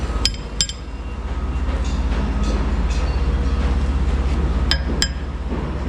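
Someone taps a steel concrete pump pipeline to locate the cleaning sponge inside the pipe by its sound, and the sponge is found. Short, bright metallic clinks ring out in a pair at the start and another pair near the end. A heavy, steady low rumble from the running pump fills the whole clip beneath them.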